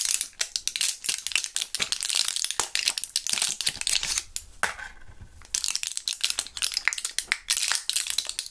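Gloved fingers turn, squeeze and crinkle a small plastic blister pack of Thrills gum with a foil backing, holding purple gum. Dense, bright crinkling and crackling with rapid sharp clicks continues throughout, easing into a quieter rustle midway before the crisp crackling resumes.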